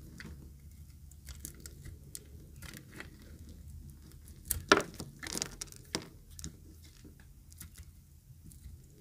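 A utility knife blade cuts and scrapes along the edge of a yellow-green solid dry soap bar, producing quiet, dry scratching and crunching with short crisp flakes of sound. A brief louder cluster of sharp scrapes comes near the middle before it settles back into soft, steady shaving over a low rumble.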